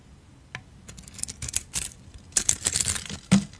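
A solid oval bar of soap with a decorated surface and a peach inside is held in the hand and shaved with a blade. Short, crisp scraping strokes come in quick bursts, each with a bright, papery hiss and a soft low thud. The strokes stop quickly with almost no ring.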